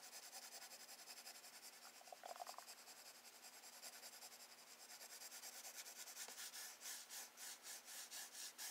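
A wooden graphite pencil draws wave lines across a page of a spiral-bound paper sketchbook lying on a wooden desk. Short, bright, hissy scratching and rubbing strokes repeat in a steady rhythm, growing louder and more distinct toward the end.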